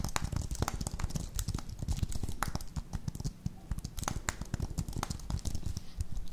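Fingertips and long nails tap and press the keys of a slim white plastic computer keyboard held up near the microphones. The result is a quick, uneven stream of short, dry typing clicks with a soft low thump under each one and a few bright, crisp ticks on top.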